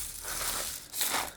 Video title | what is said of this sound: Activities for children with autism during lockdown | I just found they made quite a good noise for her